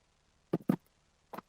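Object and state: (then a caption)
Soft plastic fishing bait with a rattle inside. A rattle inserted in a soft plastic fishing bait is shaken in the air, giving four short, quiet, low clicks in two pairs. The rattle is very quiet but can still be heard clicking, like a crawfish click.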